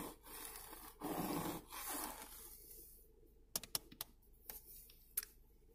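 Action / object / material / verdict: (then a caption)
tap / hard plastic car door armrest panel with window switches / plastic / none. Long painted fingernails scratch across the hard, textured black plastic of a Toyota RAV4's driver-side door armrest panel, a hollow molded trim piece holding the power-window switches. The first three seconds are a dry, hissing scrape. Then six sharp, clicky taps follow, each one dying away almost instantly.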